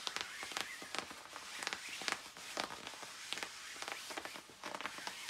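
Long nails scratch across the puffy back panels of a glossy black quilted nylon down jacket worn by a reclining person. The result is a quiet, bright run of crisp scratching swishes and crackly rustles in quick, uneven strokes. Sharp little spikes punctuate a steady hiss of fabric noise.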